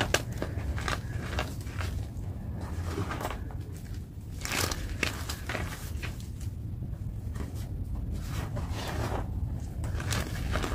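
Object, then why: Magnesium carbonate gym chalk block. A dry block of white gym chalk (magnesium carbonate) is squeezed and crumbled in the fingers into chunks and powder. Many short, bright crunching and crumbling bursts sit over a steady low rumble. No single crunch rings on.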